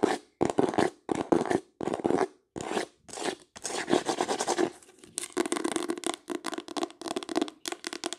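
Long acrylic nails tap and scratch fast on a green embossed hardcover book. Short, dry bursts of quick clicking and rasping scratches are broken by brief silences, then run together into a denser stretch of scratching. The sound is bright with little low end and no ring.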